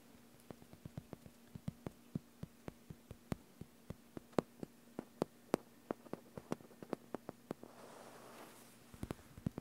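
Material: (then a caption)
Plastic. Bare fingertips tap on a large, flat, green gridded plastic (vinyl) self-healing cutting mat lying on a table, giving around thirty short, dry clicks with no ring. A faint steady hum sits underneath, and near the end a brief soft scratching rustle is heard as the fingers move across the surface before a few final taps.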